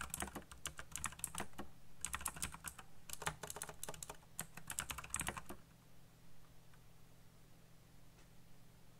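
Fingertips type rapidly on a backlit black plastic mechanical keyboard with RGB lighting and hollow key switches, producing bursts of sharp, bright, clacky taps. The typing runs for about five and a half seconds and then stops, leaving only a faint, steady low hum.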